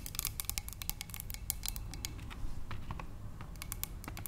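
Long nails on both hands tap quickly on a narrow, clear glass cylinder vase holding tulips. The result is a rapid, uneven run of sharp, bright clicks that stop at once with no ringing, over a soft low rumble.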